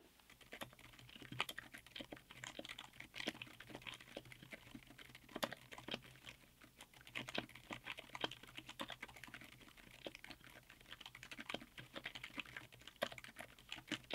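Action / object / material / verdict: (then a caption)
tap / mechanical keyboard with ABS plastic keycaps / ABS plastic / none. Both hands type with their fingertips on a 60% mechanical keyboard with Outemu Silent Yellow Jade silent tactile switches, black SA-profile double-shot ABS keycaps and a white aluminum case. A steady run of quiet, short, muted keystrokes with brief sharper taps sits over a faint low hum.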